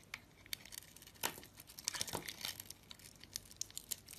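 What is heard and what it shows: A utility knife blade shaves slices and scrapes curls from a solid soap bar coated in pink glitter with a peach interior, held in the hand. Quick, bright crackling scrapes and crisp shaving rasps come in a rapid irregular series, each one sharp and dry with almost no ring.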